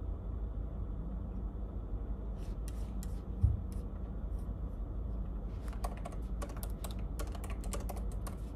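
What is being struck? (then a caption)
Plastic laptop keyboard keys. Fingertips tap the plastic keys of a silver laptop, first with both hands and then with one, in continuous typing. Scattered bursts of light, bright key clicks give way to denser, quicker runs of clicks over a steady low hum, with one brief dull thump partway through.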